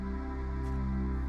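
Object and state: Nothing is struck.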